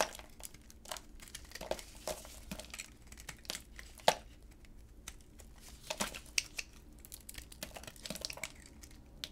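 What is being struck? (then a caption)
Bar of soap cut with a blade. A utility knife blade cuts through a solid, dry orange bar of soap held in black-gloved hands, making pieces break off and crumble. Irregular crisp crackles and dry scraping ticks run throughout, with a few sharper, brighter snaps standing out as chunks split away.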